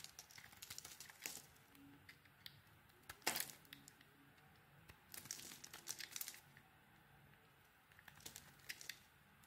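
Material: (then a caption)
Soap. A metal blade scrapes dry flakes off a solid white soap bar with pink remnants, held in the hand. Quiet, bright, crinkly scraping comes in bursts, with a louder crunch near the middle and another busy stretch later.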